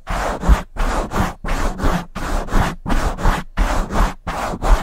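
Both hands rub a black foam windscreen on a silver microphone and scratch it with long nails. The result is a steady rhythm of dense, scratchy rubbing strokes with a deep, boomy rumble underneath, separated by brief near-silent gaps.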